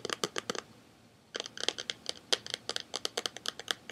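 A hand-sized, rectangular Buffy the Vampire Slayer DVD box set in a glossy printed cardboard slipcase, likely hollow with cases inside, is held in both hands and tapped and scratched with fingertips and short nails. About 22 quick, dry, bright taps and scratches sound with almost no ring, pausing briefly after the first few before resuming in a steady run.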